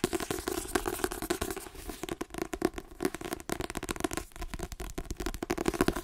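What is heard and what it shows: Fingernails tap rapidly on the spine and glossy card cover of a white paperback book, then move to the back cover. The result is a fast, uneven run of short, dry clicks with a hollow low-mid tone and almost no ring.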